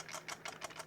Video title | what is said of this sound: Yobo NES Game Console | It rattles around with the D-pad.